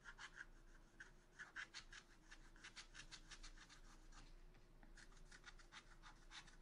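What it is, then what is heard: Scratch art paper being scratched. A wooden stylus scratches back and forth across a black-coated scratch art paper sheet in a spiral notebook. Quiet, bright, papery scrapes come in an uneven rhythm of short strokes over a steady low hum and a faint midrange tone.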